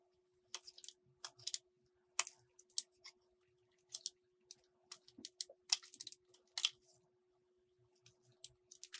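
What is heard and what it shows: A metal utility blade cuts strips from a small solid green soap bar, making short, crisp scraping cuts. The bright, dry crackles come in an irregular series with brief quiet gaps between them, over a faint steady low hum.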